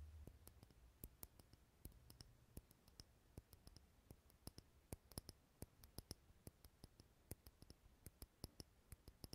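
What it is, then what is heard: Glass jar candle. Fingernails tap a small clear glass candle holder filled with green wax close to the mic, producing a quick, irregular series of short, sharp clicks with bright, high ticks and almost no ring. A faint low hum sits underneath, strongest in the first few seconds.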